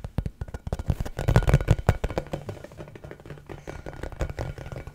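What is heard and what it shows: An orange, pebbled rubber basketball, hollow and inflated, is held close to the microphone and tapped and scratched with the fingertips. Rapid, irregular soft thumps land with a deep, hollow boom, plus faint scratchy brushing over the pebbled surface. Each tap dies out almost at once, and the sound stays low and muffled with almost no brightness.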